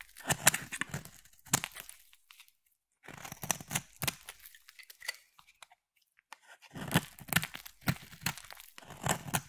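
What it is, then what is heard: Bar soap being carved. A palm-sized solid yellow bar of soap with an embossed pattern is carved with a utility blade and a craft knife. Bursts of crisp, bright scraping and crunching cuts come in clusters, separated by silent gaps, as yellow shavings fall away.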